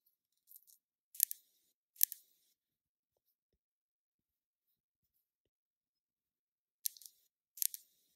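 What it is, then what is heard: Glass foundation bottle tapped with nails. Long nails tap and scratch a small, full glass bottle of liquid foundation held in the hand. Quiet, bright, clicky bursts with almost no low end arrive in short clusters, stop for a long silence, then return as two more clusters. Each tap dies away almost instantly.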